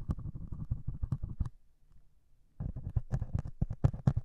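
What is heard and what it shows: A single needle pricks and scratches the grey scouring foam top of a solid melamine sponge held in one hand. A quick run of soft, muffled, low-heavy scratching taps is followed by about a second of near silence. Then comes a second run of sharper, louder pricks with brief bright ticks.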